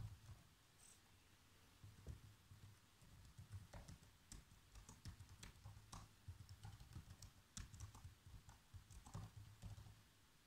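Bare fingertips with short nails type continuously on the keys of a black plastic laptop keyboard. The result is a steady stream of soft, quick clicks and taps with bright, sharp key snaps, over a faint low hum.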